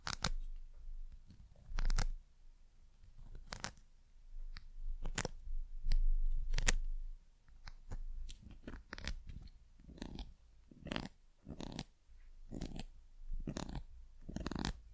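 Long nails tap and scratch a small, solid, painted carved wooden bird figure on a pencil topper held close to the mic. Sharp, bright clicks come at an irregular pace, mixed with short scratchy strokes over a low, close-up rumble.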